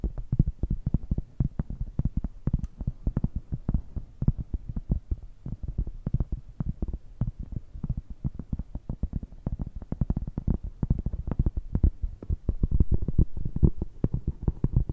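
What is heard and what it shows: A large, solid, round flat cork coaster held in both hands is tapped and scratched with long red nails. Rapid, dull, soft taps land in a dense, steady stream throughout, each dying away almost at once. The sound is deep and muffled, with almost no bright edge.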